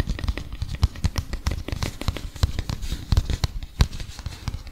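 A small folded printed paper leaflet is rubbed and crinkled with fingertips close to the mic. It makes a steady stream of quick, dry crackles and soft crinkles with a heavy, close low-end thump. Each snap dies away almost instantly, with faint bright edges above.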